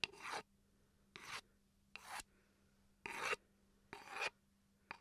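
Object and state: Wooden chopping board scratched.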